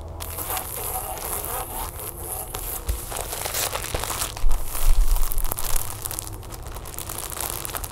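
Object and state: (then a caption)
Packaged plastic tablecover. Long nails quickly tap and scratch across the crinkly surface and edges of a flat yellow plastic tablecover still sealed in its plastic packaging, resting on a table. A steady stream of crackling, rustling taps and scrapes grows into a louder, denser burst of crinkling midway before settling back to light tapping.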